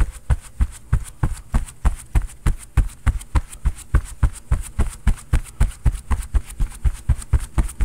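A bare fist pounds a stuffed, quilted cotton oven mitt worn on the other hand, over and over in a fist-pounding action. About 29 fast, dull, muffled thumps land roughly three times a second. The rhythm is somewhat uneven, and the sound is deep and low with almost no ring after each hit.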